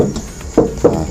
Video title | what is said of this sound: SUZUKI CARRY PICKUP FUTURA 1.5 - KELEBIHAN DAN KEKURANGAN | bagian bak belakangnya juga ini tebal kan, diketuk-ketuk gini suaranya tok-tok-tok itu